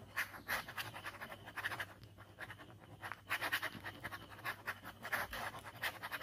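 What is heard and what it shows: A ballpoint pen scribbles fast strokes across a white paper sketchbook page bearing an ink skull drawing. The result is a quiet, continuous run of dry, bright scratching bursts with a papery hiss, peaking around 1.8–2 kHz and swelling and dipping with each stroke.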